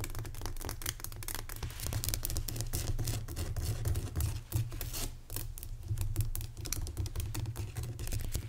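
Fingernails quickly tap and scratch the sides of a lit, solid-crystal rock salt lamp in a dark room. The result is a rapid, continuous stream of short, dry clicks and scraping over a steady low hum.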